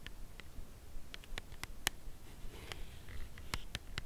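Long acrylic nails tap on a white Lindt Creation Crème Brûlée cardboard box holding a chocolate bar, held upright. Quiet, crisp clicks come slowly and irregularly, each dying away at once, over a low steady hiss.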